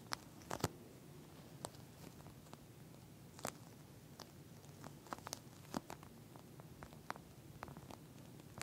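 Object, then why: Plastic eye mask filled with gel beads. Long nails on both hands scratch and tap the clear plastic shell of a pink, flat eye mask filled with small gel beads. Quiet, crinkly scratching and soft rustling are broken up by scattered sharp, bright clicks that stop almost instantly, over a faint low hum.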